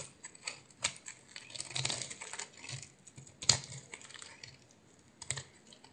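A solid blue oval bar of soap with a white core, held in the hand and scored into a grid, is cut with a utility knife blade. Short, bright, crisp snaps and clicks are heard over a soft, hissy scraping, with the sharpest crack near the middle. Each snap dies away almost instantly.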